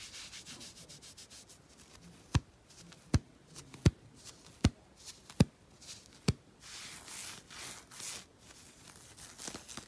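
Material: Knit fabric.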